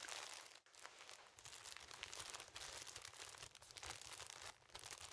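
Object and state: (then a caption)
Plastic cellophane wrap crinkling. Fingers squeeze and rub the clear plastic cellophane wrap tightly covering a yellow object about 20 cm tall, held in both hands. The result is dense, bright crinkling and crackling that runs almost continuously, with brief quieter dips near the start and toward the end.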